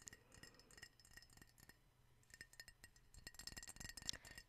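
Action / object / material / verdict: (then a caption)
tap / ceramic mug / ceramic / none. A white, hollow ceramic owl-shaped mug that appears empty is tapped with long painted nails, held first in both hands and then in one hand near the mic. The result is a quick, irregular run of light, bright clicks and clinks with almost no ring, growing louder and denser toward the end.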